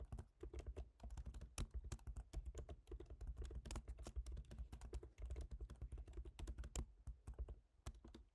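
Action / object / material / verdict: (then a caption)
tap / laptop keyboard with plastic keys on an aluminium body / plastic / none. Fingertips type steadily on the black plastic keys of a silver aluminium MacBook Pro laptop keyboard. The result is a quick run of short, dry tapping clicks with a soft low thump under each, each dying away almost at once.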